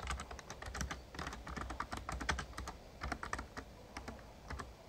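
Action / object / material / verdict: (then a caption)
tap / plastic membrane keyboard / plastic / none. Fingertips of both hands type rapid key taps on an RGB-backlit plastic Razer Ornata Chroma membrane gaming keyboard with a hollow casing. The steady stream of soft, clacky presses carries a low, hollow thump beneath short, bright clicks that die away quickly.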